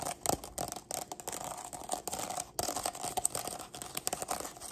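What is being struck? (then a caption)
Stack of nested plastic cups. Long black nails tap and scratch along the ridged sides of a stack of nested, hollow, empty pink plastic party cups. The result is a dense run of quick, crisp clicks and dry scraping with a bright, thin plastic ring, broken by a brief pause just past the halfway point.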